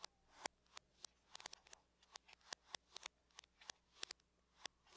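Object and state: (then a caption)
Aluminum laptop lid, tapped with nails. Long nails tap and scratch the lid of a closed silver aluminum laptop, producing about nineteen short, sharp, bright clicks in an uneven rhythm. Each click dies away almost instantly over a quiet, faint low hum.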